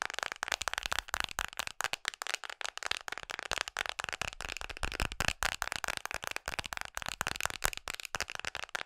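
Long nails tap rapidly on a red hard plastic phone case fitted on a smartphone held in both hands. The dense, fast stream of sharp, dry clicks sounds bright and crackly, with the main pitch around 2.6 kHz and almost no ring after each tap.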